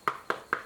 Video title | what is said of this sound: Tikka T3x Stainless Varmint in 243, first look | this one's not so bad let's let's have it listen to it ... it sounds solid